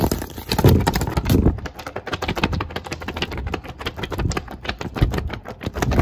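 Long acrylic nails tap and scratch rapidly across a thin white sheet of paper held curved in both hands. The result is a fast, irregular run of soft, low, papery taps mixed with dry scratching and crinkling, with a few louder thumps along the way.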